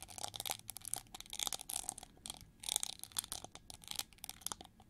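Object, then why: Chrome-plated plastic hair brush. Long nails scratch and tap along the ridged wing feathers of a hand-sized, hollow, shiny gold chrome-plated plastic hair brush sculpted like an eagle. The result is a quiet, dry stream of bright, crackly scrapes and quick clicky taps with almost no low end and no ring.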